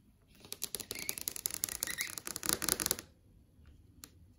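Long yellow acrylic nails tap rapidly on a large TV screen (plastic/glass panel) showing a list of videos. A dense run of sharp, bright clicks lasts about two and a half seconds, then stops, followed by one last isolated tap.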